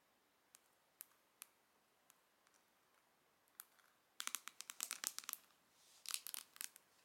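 Long nails tap and scratch the pink pearlescent printed lid of a medium, closed, hollow pink plastic Charlotte Tilbury eyeshadow palette held in both hands. A few quiet, sparse, bright clicks come first, then two dense bursts of rapid tapping and scratching. The sounds are crisp and high with almost no ring.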